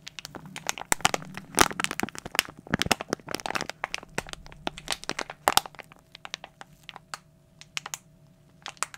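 A glossy plastic foil toy blind bag is crumpled and crushed with fingers and fist, giving a dense run of sharp, bright crackles and crinkles. The snaps come thick and overlapping at first, then thin out into sparser pops separated by quiet gaps, over a faint low hum.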